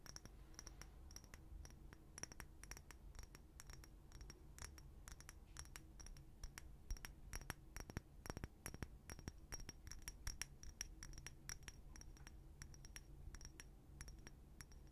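A small clear glass bottle, partly filled with pink liquid and topped with a pink cap, is tapped and scratched with fingernails. Dense, rapid, quiet clicks and light scratches are heard, each dying away almost instantly, with a faint high glassy ring over a low background rumble.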